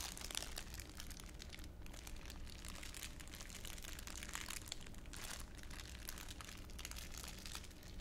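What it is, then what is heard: Clear plastic wrapper being crumpled. A thin, crumpled clear plastic wrapper is held in one palm while the other hand's fingers crumple and crinkle it. A continuous, dense crinkling of bright, sharp crackles sits over a steady low rumble, staying at an even, quiet level throughout.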